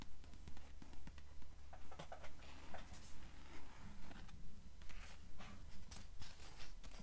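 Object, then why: Paper book pages. Long nails tap and scratch the paper pages of an open blue book with yellowed edges. About 13 soft, steady taps land in an even rhythm, mixed with brief bright scratching swipes over a constant low hum.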